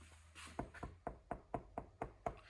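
Eight short, dull knocks land on the body panel near the fender flare of a restored 1995 Land Rover NAS Defender 90, each a quick hollow thud that dies away almost at once. The panel is lined with sound-deadening and soundproofing material, which keeps the knocks damped as it should, reducing road noise and rattle in the soft-top truck.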